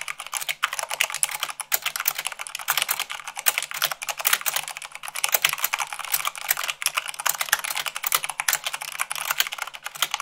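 Fingertips with long acrylic nails type fast, at about 98 words per minute, on a full-size mechanical keyboard with white plastic keycaps on a black base. The result is a continuous, dense stream of crisp, bright clicks and clacks with very short decay and almost no low end.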